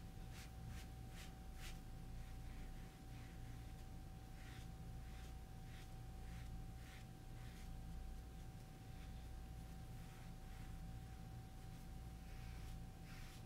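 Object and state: Nothing is struck.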